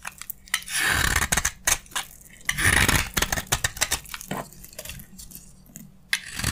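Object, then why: Soap bar shaved with a metal blade. A metal utility blade shaves crunchy curls off a narrow, carved, solid beige soap bar held in the hand. Dry, bright scraping crunches come in irregular bursts, with longer grinding swells between sharp, quick snaps and crackles.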